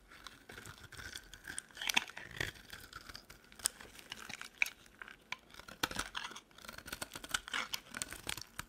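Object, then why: Bar of soap carved with a metal blade. A metal utility knife blade carves long strips off a solid, dry, cream-colored oval soap bar held in the palm. The result is a continuous run of dry, crisp scraping and crackling, bright and thin with almost no low end, broken by sharper snaps as each strip peels away.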